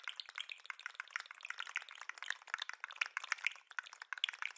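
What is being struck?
Jointed plastic lobster toy.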